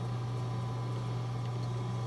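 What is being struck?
Nothing is struck.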